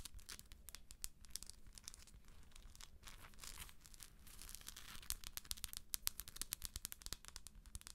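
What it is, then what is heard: Plastic moon lamp. Long acrylic nail tips tap rapidly on the top of a hollow plastic galaxy moon lamp's shell, with the hand held above the lamp. Quick, dry, bright clicks patter over a low, steady rumble, growing sharper and louder in the second half.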